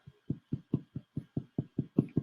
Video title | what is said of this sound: Simple White Bread | it sounds Hollow it's done